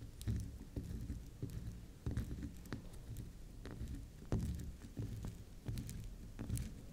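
Long nails scratch, scrape and tap the spiral face of a soft, round pink swirl candy soap bar held upright. The sound is a run of muffled, low taps and soft scraping, with faint bright ticks on each contact.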